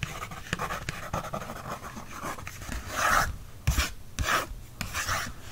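A wooden stick tip traces and scratches across a thin paper library checkout card resting on a book. Dry, papery scraping strokes come in irregular bursts of hiss, broken by a few soft, low thumps where the tip presses down.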